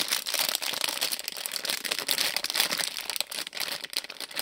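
A small printed plastic-film Lego Disney polybag with bricks inside is held in both hands while the fingers crinkle and stretch the film. The result is a steady, dense, bright crinkling with quick crackles and no low rumble.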